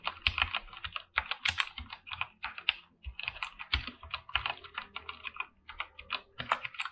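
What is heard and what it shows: Both hands type with their fingertips on a full-size, backlit mechanical keyboard with PBT plastic keycaps under dim purple light. The result is a rapid, steady stream of bright, crisp clacks that stop short, with little low end and brief pauses between bursts.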